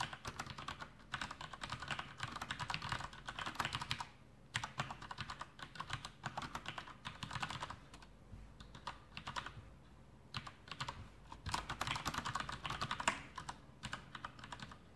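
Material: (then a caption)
Plastic. Both hands type continuously on a full-size black plastic Masterkeys Pro M mechanical keyboard with Cherry MX Brown switches and blue backlit keycaps, resting on a desk. Rapid, dry clacks come in dense bursts, with brief quieter pauses near 4.5, 10 and 14 seconds. Each keystroke dies away almost instantly, with a mid-range tone and some bright edges.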